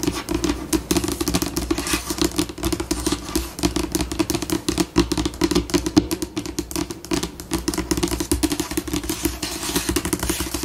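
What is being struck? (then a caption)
Laminate table top. Long pink acrylic nails on both hands tap, scratch and scurry across a flat, solid white laminate tabletop, shifting between slow and fast. The result is a dense stream of short, dry clicks and scratchy bursts with quick decay over a steady low hum, continuing throughout.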